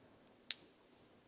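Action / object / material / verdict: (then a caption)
tap / silver bullion coin / silver / real. A silver Maple Leaf bullion coin is pinged once with a key, giving a bright, high metallic ping with a thin tone that keeps ringing for about half a second. The ring confirms the coin is a genuine silver Maple Leaf.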